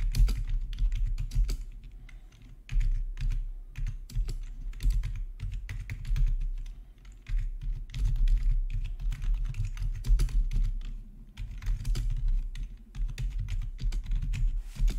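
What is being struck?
Plastic computer keyboard.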